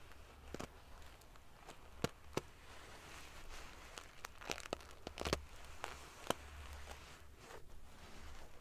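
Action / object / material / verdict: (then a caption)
scrape / padded pillow covered in small metal sequins / metal sequins / none. Fingers and nails brush and ruffle the rows of silver metal pieces on a large padded metal-sequin fabric pillow. Soft, crinkly rustling runs throughout, broken by sharp, bright clicks and ticks as the metal pieces knock together, over a low steady hum.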